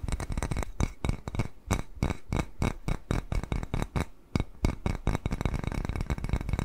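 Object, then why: Small glazed ceramic bowl. A small white glazed ceramic bowl shaped like a cat face, hollow and empty, is held upright and tapped rapidly with fingernails. The result is a dense, uneven series of quick, dry taps with a low, hollow body and brief bright clinks that die away almost instantly, with a few short pauses between bursts.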